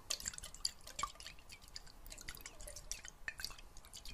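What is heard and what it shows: A clear glass jar partly filled with water and closed with a metal lid is tilted and shaken so the water sloshes inside. The result is a quiet, irregular run of bright, drip-like splashes and small high-pitched clicks that fade almost instantly.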